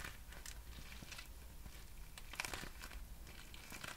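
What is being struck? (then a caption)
Thin clear plastic film pouch. A small, clear, patterned plastic packaging pouch of thin, hollow film is held close to the microphone and crinkled and squeezed with fingertips and long nails. The result is a steady, bright, papery crinkle with scattered sharp crackles and a louder burst near the middle, over a faint low hum.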